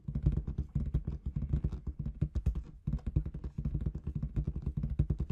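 Long red nails tap rapidly on a large inflated clear latex balloon with confetti inside. The taps are soft, dull and low, with almost no bright content and very little ring. They run as a steady, dense patter with a brief pause near the middle.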